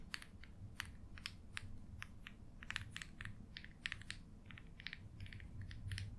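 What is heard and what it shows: A quill pen's metal nib, held in the fingertips, scratches short strokes across an open paper sketchbook page covered in ink marks. The result is a steady run of quick, bright, dry scratches and ticks that stop almost at once, over a low, quiet background rumble.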